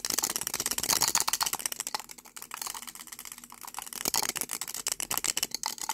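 A small cylindrical lipstick tube with a dark red plastic body and a shiny silver metallic-look cap is held in both hands while fingertips and short nails rapidly twist, pull and rattle the cap on the hollow tube. Dense, bright plastic clicks and rattles fill the clip, easing into quieter, sparser ticks in the middle before the quick rattling picks back up.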